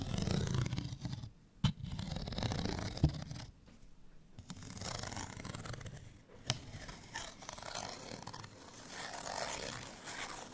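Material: Paper card.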